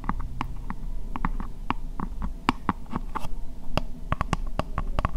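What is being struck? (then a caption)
Upturned plastic bowl. Fingernails scratch and tap the sides of an empty, hollow, translucent pink plastic bowl held upside down. Short, dry taps with very little ring pop out over a steady low scratching rumble, and the taps come faster and sharper toward the end.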